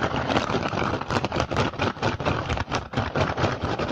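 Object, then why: Woven rattan basket. Short fingernails and fingertips of both hands rapidly tap and scratch the weave of an empty, upturned woven rattan/straw basket with green and red dyed strips and a hollow dome. The result is a dense, continuous crackling rustle of quick, irregular scratches and taps, with hollow low thumps beneath a bright, dry texture.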